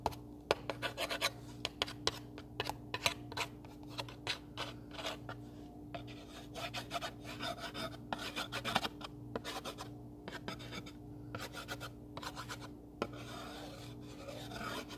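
An open pink cardboard recipe box holding lined paper cards is scratched and rasped across the inside with a thin black stick or pen. Quick, dry scraping strokes come in bursts with a bright, papery edge over a steady low hum.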